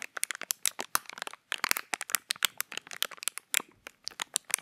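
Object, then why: Thin clear plastic packaging. Fingertips crinkle and press a small, empty, hollow piece of clear plastic packaging held up close. Dense bursts of bright, sharp crackles and clicks come in quick irregular clusters, each snapping off instantly with almost no low end, and there are brief pauses between flurries.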